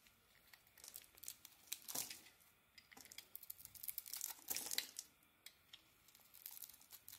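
A solid oval Elkos soap bar with a yellow-green coating and a white core is held in the hand and shaved with a metal blade, peeling off soft flakes. The clip is quiet, with bright, dry scraping and crinkling strokes that come in irregular bursts and stop dead with no ring.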